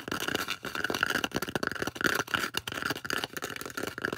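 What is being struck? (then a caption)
Polystyrene foam disc. Long orange acrylic nails tap and scratch across the surface of a large, solid, round white polystyrene foam disc. Dense, dry scraping and scratching bursts come in quick succession, with a squeaky tone near 1.4 kHz and little low end.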